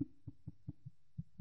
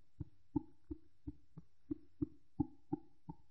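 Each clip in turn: First: woven fabric snapped along the crosswise grain, duller snap. Second: woven fabric snapped taut along the warp, clear snap.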